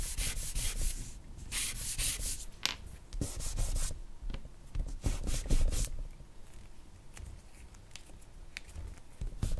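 A charcoal stick is scratched across a flat white drawing paper sheet bearing a charcoal portrait, as the hand shades and makes short strokes. Dry, raspy rubbing comes in uneven bursts of bright hiss over a low rumble, busier at first and quieter toward the end.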